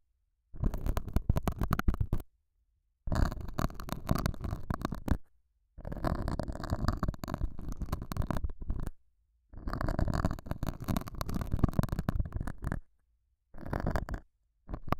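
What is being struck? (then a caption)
Felt pad scraped by a metal dental scaler. A metal dental scaler with a white handle scratches and pokes the surface of a small, solid, square beige felt pad mounted over a small lavalier mic. It produces dense, muffled, low rumbling scrapes and crackles in long bursts separated by short silences, with a final burst cut off at the end.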